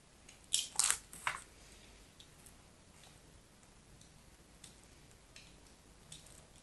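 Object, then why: Solid bar soap. A metal blade scratches the surface and edges of a solid pink bar of soap held in the hand. Three loud, bright, crunchy scrapes come close together near the start, followed by faint, sparse high scratches over a quiet background. The scrapes stop sharply with no ring.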